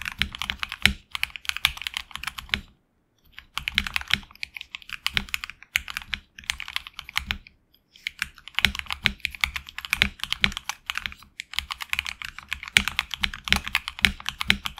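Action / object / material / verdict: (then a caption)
tap / mechanical keyboard with PBT plastic keycaps / plastic / none. Fingertips of both hands type fast on a HyperX Alloy Origins Core tenkeyless mechanical keyboard with HX Red switches, red and black PBT plastic keycaps on an aluminum plate, and a hollow case, lying on a desk mat. Rapid bright, crisp keystroke clicks with soft low thumps run in dense bursts, broken by two brief pauses. Each keystroke dies away almost instantly.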